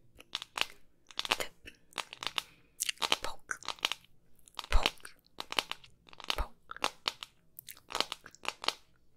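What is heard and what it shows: Long pink nails tap and scratch a hand-sized hollow hard plastic soccer-ball container, printed white with black patches and held close. Bursts of quick, crisp crunchy clicks and scrapes come in clusters, each dying away almost at once, with an occasional heavier thump.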